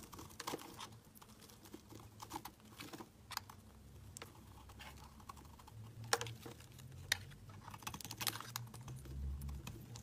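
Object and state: Bar soap being shaved with a blade.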